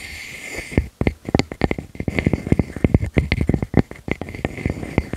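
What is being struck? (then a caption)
Wooden slice with bark edge. A palm-sized slice of solid natural wood with its bark edge still on is scratched and rubbed across its cut face by long nails and fingertips. A soft, steady rubbing opens the clip, then gives way to many quick, dry scratch strokes with a low, thumpy body and a faint bright edge. The strokes come in an uneven, busy rhythm, each one short and clipped with almost no ring.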